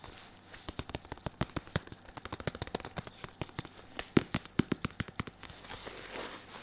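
A red and white padded synthetic leather boxing focus mitt, held in one hand, is tapped with the fingertips of a latex-gloved hand. About 34 quick, dry, padded taps come in an uneven rhythm, each stopping at once with no ring. The tapping gives way to a soft, bright rustle at the end.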